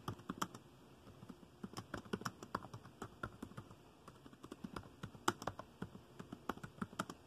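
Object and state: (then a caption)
Plastic laptop keyboard being typed on. Fingertips tap dark plastic laptop keys in continuous typing. Short, dry, quiet clicks and taps fall in an uneven, steady rhythm, each one dying away almost instantly against a low background hiss.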